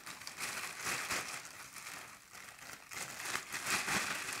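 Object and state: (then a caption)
Plastic garbage bag. A large, thin, empty black plastic trash bag is shaken, flapped and crumpled in the air with both hands. The loose film gives off continuous bright crinkling and rustling in uneven surging bursts, with little low end.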